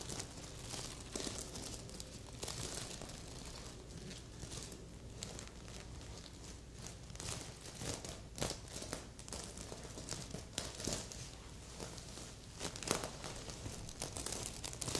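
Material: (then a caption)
Plastic sequins. Long polished nails scratch and brush across a medium, soft stuffed heart-shaped pillow covered in red and silver reversible plastic sequins. The result is a steady, dense crinkling and rustling texture with frequent bright clicky flicks as the sequins flip, over a low background hum.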